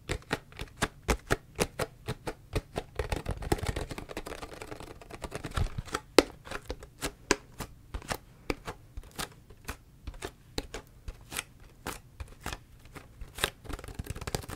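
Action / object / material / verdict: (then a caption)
tap / plastic drink bottle / plastic / none. Long fingernails tap the body and label of a large, clear, ridged PET Ito En drink bottle that looks empty. The result is a steady run of sharp, dry clicks with almost no ring, broken around the third to fifth second by a denser stretch of quick scratchy tapping before the distinct taps resume.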